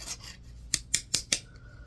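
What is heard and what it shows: A solid green bar of soap is scratched with a yellow-tined tool on a wooden handle. Four short, bright scraping strokes come in quick succession, each crisp and dry with almost no ring. A faint hiss precedes them.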